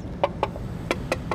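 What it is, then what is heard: Plastic wheel cover. Five light knocks on the plastic aero wheel cover of a 2025 Jaecoo J7 PHEV give short, hollow taps that die away almost at once. The cover is confirmed as plastic, fitted to cut drag for better EV efficiency.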